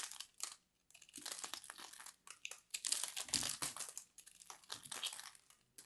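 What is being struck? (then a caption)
Ball of grated soap. A fist-sized solid ball of grated purple soap, held in a hand with long manicured nails, is scraped and carved with a metal blade tool, and shavings crumble off. Bright, dry crinkling and crunching scrapes come in uneven bursts separated by brief silences, with almost no low end.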